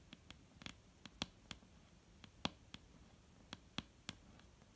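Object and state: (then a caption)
Solid wooden table top. Long painted nails of both hands tap the solid, dark brown wooden top of a table in an irregular rhythm. Thirteen short, dry taps are heard, each a crisp, bright click with a soft low knock near 220 Hz that dies away almost instantly. Some taps are light and others firmer, with quiet pauses between them.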